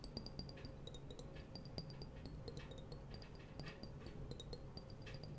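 A small, clear, hollow and apparently empty glass jar is held in one hand while the fingertips and nails of the other hand tap and scratch its side. Rapid, light clicks and short, high, glassy pings that die away almost at once ride over soft scratching and a steady low hum, all at a quiet level.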